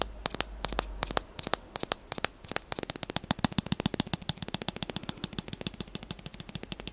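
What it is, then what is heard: Plastic spoon tapped and scratched. Fingertips and short nails rapidly tap and scratch the handle and back of the bowl of a light-blue plastic spoon. Dozens of quick, dry, bright clicks come in an uneven, fast rhythm, each dying away instantly, over faint scratchy rustling. Near the end the taps grow denser and more evenly spaced.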